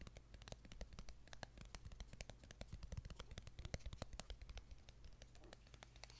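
Fingertips and nails scratch and tap along the surface of a thin, flat, light wooden ruler with punched holes, held close up. Quiet, dry, irregular clicks and short scratches with bright tops ring out in quick succession and die away almost at once, over a steady low hum.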